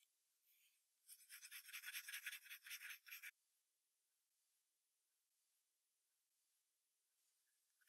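A wooden graphite pencil sketches short strokes on a thin sheet of white drawing paper taped to a hardboard clipboard. A quick run of eleven bright, scratchy strokes fills the first few seconds, then the clip falls to a faint, airy near-silence with a soft scrape at the very end.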